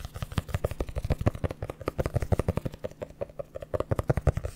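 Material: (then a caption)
Cardboard. Long nails and fingertips scratch and tap the cover of a red hardcover notebook held close in front of a microphone. Around 36 quick, dull taps come in a steady rapid patter, mostly low and thumpy with very little high-end sizzle, and each one stops almost at once.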